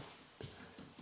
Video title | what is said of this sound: How do you fit laminate worktop EDGE TRIM? | there should be no like hollow points or anything. It should feel totally solid all the way along